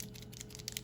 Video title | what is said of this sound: Archer & Olive Creative Therapy -Unbox | you can hear there's stuff in there um so you shake it up to get the paint flowing